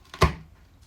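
A piece of cooled homemade sesame brittle (simsimiya), made from toasted sesame and sugar syrup, is snapped apart, giving a single sharp crack with a heavy low thump that fades within a fraction of a second. The brittle breaks cleanly, not sticky or soft, showing it set crisp.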